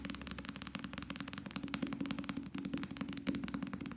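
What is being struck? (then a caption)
Small softcover paperback book. A small, solid softcover paperback novel with a paper cover is held close and quickly tapped and drummed with the fingertips of both hands. The result is a rapid, irregular stream of short, dry taps with a papery low-mid thud and crisp bright clicks, each dying away almost at once. The drumming keeps up at a steady level for the whole clip.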